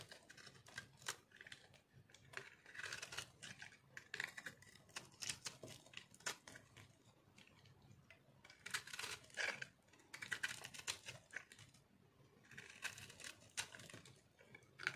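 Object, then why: Bar of soap carved with a metal blade. A metal cutter blade scrapes and carves the surface of a solid, round, pink speckled dry soap ball held in hand. The result is a quiet, dry, crunchy scraping made of many rapid short strokes. The strokes come in bright, crackly bursts with brief pauses between passes.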